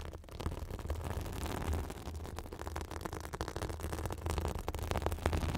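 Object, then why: Synthetic fibrous bath sponge. A white fibrous synthetic bath sponge, pressed against the top of a microphone, is scratched with long acrylic nails. This produces a steady, dense, rustling crackle over a deep, boomy low rumble that swells and dips continuously without clear separate strokes.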